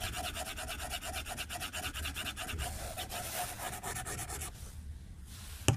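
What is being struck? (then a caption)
Glass tablet screen and plastic stylus. A white plastic stylus tip strokes across the glass screen of a tablet lying flat on a desk, making a fast, rhythmic run of scratchy, bright rubbing sounds over a low hum. After about four and a half seconds the strokes fade to a quieter hiss, and a single sharp tap on the glass ends the clip.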